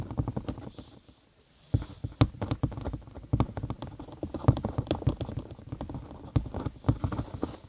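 A thin cork sheet, curved over a binaural microphone and hollow underneath, is tapped and scratched with long acrylic nails. Rapid, irregular, deep and bassy hollow thumps with short dry decays and a soft scratchy texture fill the clip, pausing briefly about one second in before resuming just as densely.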